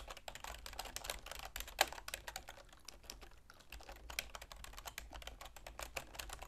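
Continuous typing with long nails and fingertips on a full-size black plastic keyboard with a silver plastic frame. Rapid, bright clicks and clacks follow one another with almost no ring, and one sharper, louder tap stands out near the two-second mark over a faint low hum.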